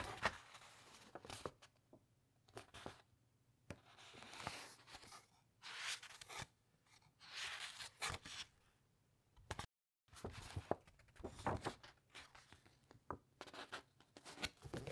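Long nails scratch and rub across the printed, thick uncoated paper pages of a large open encyclopedia, and the pages are turned. The audio is quiet, with soft bright rustling swells when pages turn, interspersed with short, dry scratching ticks and a brief silence near the middle.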